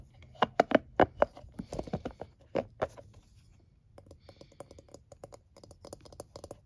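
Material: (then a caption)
Plastic, silicone. A palm-sized scalp massager with a blue plastic base and soft silicone bristles is held in hand while fingertips and nails rub and tap the bristles. Sharp, dry clicking taps come loud and spaced at first, then fade into a brief lull. They return as a quieter, quicker patter of light ticks.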